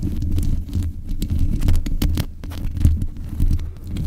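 Long nails tap and scratch the metal mesh grille on the head of a black USB condenser microphone. The result is a dense, boomy low thump and rumble, broken by quick, sharp clicks that briefly flash bright and die away almost at once.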